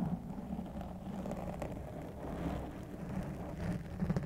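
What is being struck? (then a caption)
Foam microphone windscreen. Fingertips and nails of both hands scratch and rub a large, soft, porous black foam windscreen over a white condenser microphone. The result is a continuous, muffled, crackly rustle, heavy in low rumble, with soft swells and brief scratchy bursts across the clip.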